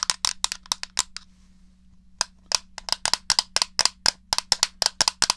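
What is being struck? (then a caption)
Plastic game controller. Buttons are pressed and the case is tapped with nails on a small, hollow, grey plastic SNES controller. It makes a quick run of sharp, bright plastic clicks and taps, then a brief pause of about a second before a longer, steady stream of taps. A faint low hum runs underneath throughout.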